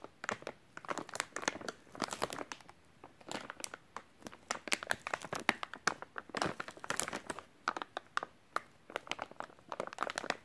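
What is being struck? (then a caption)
Soft plastic wet wipes package. A full white soft plastic wet wipes package is crinkled and tapped with fingertips. The result is dense, bright crinkling in quick, sharp bursts that stop dead, with almost no low end.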